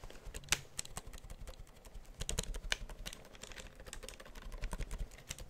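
A black plastic computer keyboard is held upright close to the microphone while its keys are typed and tapped with fingertips. The result is a quick, uneven run of short, dry clicks and clacks, each with a bright, high snap over a soft low thud and no ringing tail.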